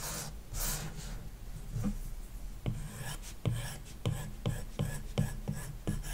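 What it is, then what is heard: Stylus strokes on a matte-filmed tablet screen. A plastic stylus tip scratches short strokes across an iPad's glass touchscreen, likely covered with a paper-like matte protector, as the tablet lies flat on a wooden desk. Soft rasping rubs give way to eight distinct, dry tap-and-scratch strokes. Each has a low thump and a brief bright scrape that dies away quickly.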